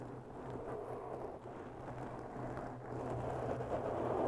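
Long bare natural nails slowly scratch around the edges of a round, porous black foam windscreen on a white microphone. The result is a continuous, muffled rustling scratch centered in the low-mids with almost no brightness, over a steady low hum. The sound grows slightly louder toward the end.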